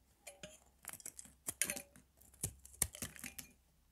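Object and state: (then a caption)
Bar of soap being cut. A palm-sized, dry, pale green Palmolive soap bar from a retro set is held in the hand and scraped and cut with a metal blade, shaving off thin pieces. The result is a quiet series of short, crisp scraping and crackling cuts with bright, clicky edges and almost no ring.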